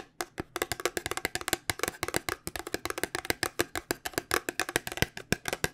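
Fingernails tap quickly on the faces of a small white paperboard cube-shaped cosmetic box held in both hands. About 38 dry, hollow clicks come in a rapid, uneven run, each bright and gone almost at once with no ring.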